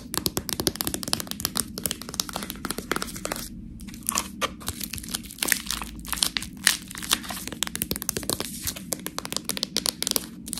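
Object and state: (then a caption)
Plastic package of fresh tortellini. Long nails scratch and tap a sealed, clear plastic package full of fresh tortellini. The crinkly plastic gives a dense, bright stream of crackling and sharp ticks, with a brief quiet pause in the middle.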